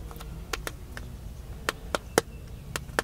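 Fingertips tap the screen and black plastic case of a solid, hand-sized smartphone held flat in one hand at chest height inside a car. Nine short, dry, sharp taps come at an irregular pace with no ring-out, over a steady low rumble.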